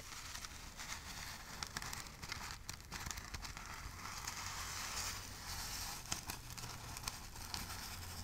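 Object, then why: Burlap-covered ornament ball. A palm-sized Christmas ornament ball covered in burlap jute fabric, with a red ribbon and a pine sprig, is scratched and tapped with long nails. Dry, crackling scratches and rustles fill the clip, broken by sharp taps, over a faint low hum.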